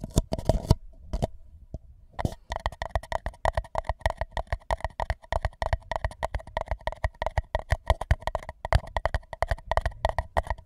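An empty white paper cup is held tilted over a microphone, one hand gripping its side while the other taps the base with fingertips. Quick, hollow, resonant taps ring with a steady tone and deep low thumps. They come in a rapid, uneven stream of dozens of hits, with a brief near-silent pause early on.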